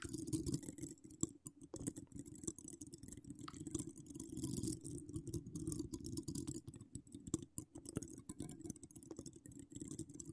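Long decorated acrylic nails on both hands scratch a hollow woven metal mesh microphone grille with no cover. The result is a dense, quiet stream of crackly scratching and rapid short clicks. A steady low body sits under a faint bright hiss.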